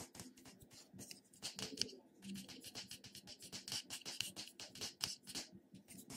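A small purple plastic cosmetic jar, held in one hand, is tapped and scratched on its lid and sides with fingertips and short nails. The result is a quiet, rapid stream of dry, bright clicks and scratchy taps that stop instantly with no ring.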